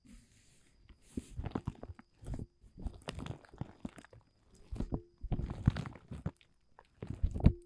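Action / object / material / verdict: tap / woven polyethylene tarp groundsheet / polyethylene / none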